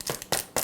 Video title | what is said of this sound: How to Make Homemade Flaked Cereal with this Healthy Cereal Recipe - Never Buy Boxed Cereal Again! | when you can tap on it and it has that very hard hollow sound